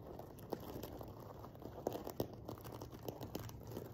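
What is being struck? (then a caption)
Sequin-covered fabric pillow. Fingernails scratch and brush across a silver sequin-covered fabric cushion, making a quiet, steady crinkly rustle. Scattered sharper clicks and ticks stand out above the soft scraping texture, which sits mostly in the low and middle range.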